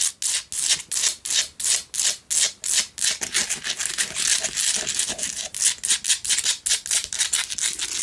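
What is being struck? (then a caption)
Rock-salt lamp. A small lit Himalayan rock-salt lamp, a solid rough chunk with a cord, is held in one hand and scratched with the long acrylic nails of the other hand. Quick, dry, high scraping strokes repeat in a fast, uneven rhythm, with separate bursts at first that run closer together toward the end.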